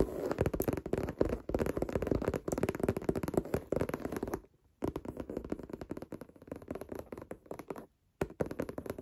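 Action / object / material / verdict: tap / pebbled leather handbag / leather / none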